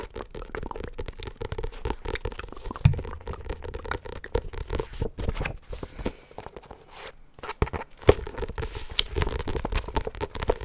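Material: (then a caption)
Card and paper. A solid medium paperback book with a glossy cardstock cover is held in both hands close to the microphone while its cover and edges are scratched and tapped with fingernails and fingertips. The result is a fast, dense stream of dry scratches, crinkly scrapes and soft taps with a low, thumpy body, with sharper taps standing out near 3 and 8 seconds and a brief lull around 7 seconds.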